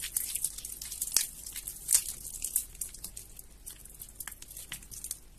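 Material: Soap.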